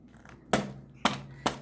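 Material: Filo pastry.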